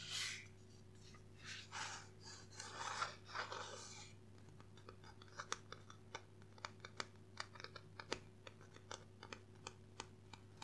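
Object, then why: Hardcover book with cardboard cover. A dark blue hardcover book with a cardboard cover is held upright in both hands while gloved fingertips scratch and tap along its cover and edge. The first few seconds are soft, hissy scratching strokes, followed by a long series of quick, dry, sharp taps. A faint steady low hum stays underneath throughout.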